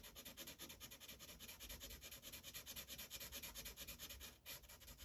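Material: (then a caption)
Paper. A yellow felt-tip marker rubs back and forth over a thin printed paper coloring page resting on a hard clipboard, filling in shapes. The result is a steady run of quick, bright, scratchy strokes at a brisk, slightly uneven pace, with a brief pause just before the end.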